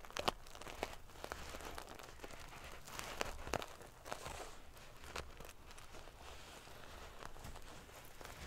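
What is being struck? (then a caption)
Pillow covered in metal sequins. Fingernails scratch and ruffle the metal paillettes on a silver metal sequin-covered pillow. The result is a steady, bright, crinkly rustle, punctuated by short, sharp clicks as the small metal pieces shift against each other.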